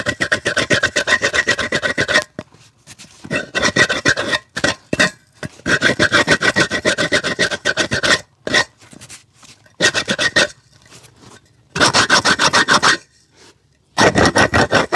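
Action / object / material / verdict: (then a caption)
scrape / rubber shoe sole / rubber / none. A small handheld rasp scrapes and files the edge of the rubber sole of a worn, hollow, empty black leather shoe held on a foot and lap. Bursts of quick, gritty rasping strokes are heard, bright and harsh with a tonal scratch, separated by short pauses and quieter strokes.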